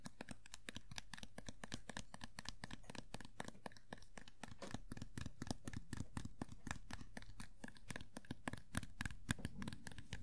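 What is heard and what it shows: A small hollow vinyl Funko POP Sailor Pluto figure is held sideways while its green hair is tapped with long nails and fingertips. Rapid, quiet, dry clicks and light hollow knocks repeat about four times a second, each dying away almost instantly, with soft scratchy rustling between them.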